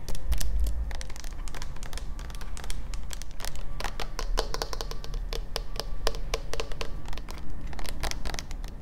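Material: Plastic.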